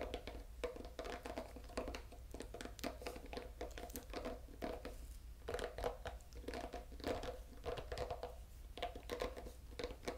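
The green silicone nubs of a solid, oval bamboo pet brush are scratched and flicked with fingertips and nails. This gives a dense run of quick, crisp scratches and soft flicks with a faint midrange ring near 480 Hz. A steady low hum runs beneath throughout.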